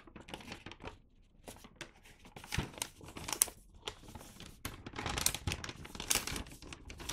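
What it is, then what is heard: Paper gift bag being crinkled. An empty medium-size red paper gift bag with a Santa print is held in both hands and turned over while fingertips handle, rub and flex the paper. The result is a continuous, bright crinkling and rustling with short, sharp crackles scattered throughout.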